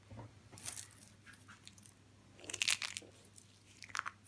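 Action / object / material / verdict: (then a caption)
scrape / dry soap shavings / soap / none. Hands grab a handful of thin, curled white and blue dry soap shavings from a pile and crush and crumple the brittle, solid flakes between their fingers and in a fist. Bright, dry crunching and crackling bursts come in clusters, loudest around the middle of the clip and again near the end, with quiet pauses between them.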